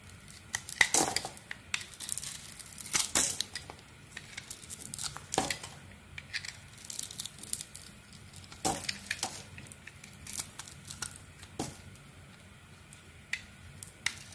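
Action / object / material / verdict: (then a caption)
scrape / coated soap bar scraped with a razor blade / soap / none. A blue soap bar with a maroon painted coating, held in the hand, is shaved and scraped across its surface with a razor blade. Quiet, crisp scraping strokes come in short bright bursts with a crinkly, papery texture. Each stroke dies away almost at once.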